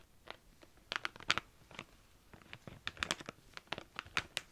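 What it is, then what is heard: Plastic tub of felt-tip markers. Long dark-painted nails tap and scratch the sides of a medium cylindrical clear plastic tub full of colourful felt-tip markers, held in both hands. A quick, uneven series of sharp, bright clicks and scratchy, crinkly rasps sounds against a quiet background, each dying away almost at once with little low end.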